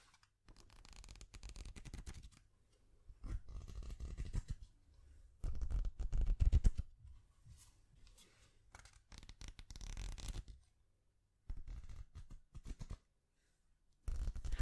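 A small stack of yellow paper sticky notes has its pages flicked and riffled, and the pad is scratched with long nails. Short bursts of dry, papery flutter and rapid scratching come and go, with brief quiet gaps between them and a heavy low-end thump under the louder riffles.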